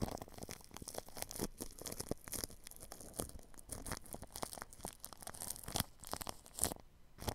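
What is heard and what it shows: A paintbrush brushes across plastic cling film wrapped over the grille of a ball microphone. It makes a steady run of quiet, dense crinkling and crackling with sharp, bright snaps and a low rumbling thump under the strokes.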